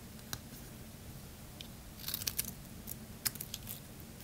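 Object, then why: Bar of soap shaved with a blade. A solid purple bar of soap held in the hand has its surface shaved with a blade, peeling off thin curls. Quiet, bright, crisp scraping clicks come in short bursts, nine of them distinct, over a low steady hum.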